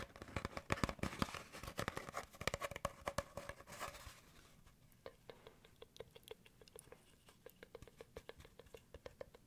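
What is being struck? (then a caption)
Cardboard paper towel tube. An empty, hollow brown cardboard paper towel roll, with its open end visible, is tapped and patted with fingertips. For the first four seconds, dense, rapid patting produces a papery, rustling clatter with a hollow, low body. After that, it thins to sparser, lighter, dry taps that stop quickly.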